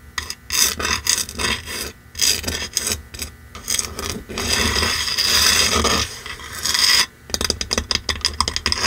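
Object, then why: Painted wooden block sign. A red painted wooden block sign is scratched along its face and edges with long manicured nails of both hands. The result is a bright, raspy scratching with bursts of rapid strokes and a few longer continuous scrapes.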